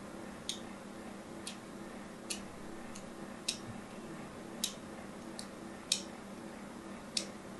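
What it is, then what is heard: Bar soap scratched with a needle. A thin needle, held in fingers with long nails, scores and scratches a solid, hand-sized orange and white striped bar soap. Nine short, bright, crisp scratches sound at uneven intervals over a faint, steady low background hum, and each one dies away almost instantly.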